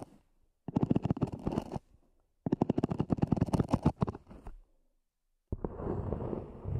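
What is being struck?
EVA hard-shell earphone case.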